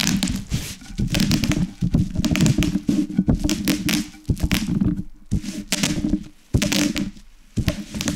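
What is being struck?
Plastic bubble wrap under a rolling pin.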